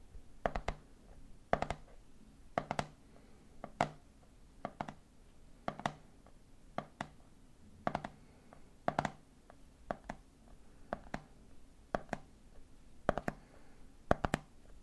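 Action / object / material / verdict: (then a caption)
tap / plastic jar of peanuts with plastic lid / plastic / none. Fingertips tap the top of the red plastic lid on a medium clear plastic jar full of peanuts, making quick, dry clicks that stop almost at once. The taps come in short clusters spread evenly across the clip, each with a hollow, mid-pitched knock over a faint low hum.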